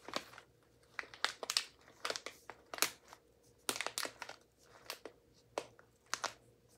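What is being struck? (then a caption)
Foil-lined paper coffee bag. A filled Medium Caffè Verona coffee bag made of paper with a foil lining is held and squeezed by hand. Its surface gives off a series of short, bright crinkling bursts separated by brief quiet gaps.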